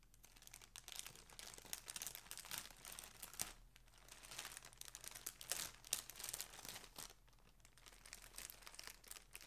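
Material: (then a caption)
Plastic. Fingers and nails crinkle and pull at the opening of a thin, flat, transparent plastic poly bag filled with a folded floral shirt as it lies on a table, with a grey mailer nearby left untouched. The result is soft, dense, bright crackling and rustling in continuous bursts, easing into brief quieter lulls before resuming.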